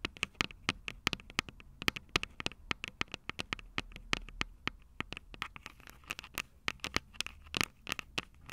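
Long nails on both hands scratch and tap the small metal X/Y microphone capsules on top of a plastic Tascam DR-05 recorder, the recording mic itself. Dense, dry, bright clicks and scratches patter irregularly throughout with almost no ring, over a faint low hum.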